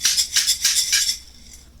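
A jar of dehydrated vegetables, likely green beans, is shaken, and the properly dried pieces give four bright, crisp clinking rattles. The rattles are followed by a quieter tail and a sharp knock at the end. The crisp sound shows the food is properly dried.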